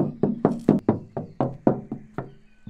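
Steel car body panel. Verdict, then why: Resonant. Knocking on the steel sheet-metal body panel of a Suzuki Jimny Sierra JB74 before sound deadening produces a steady series of hollow knocks with a low tone around 200 Hz. Each knock rings briefly, so the untreated panel sounds resonant rather than dull.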